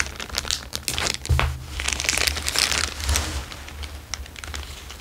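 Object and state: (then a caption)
Clear plastic bag crinkled. A thin, empty, transparent plastic bag is held in both hands and crinkled and squeezed with the fingertips. The result is dense, bright crackling and rustling in quick bursts over a steady low hum, with brief sharp crunches standing out along the way.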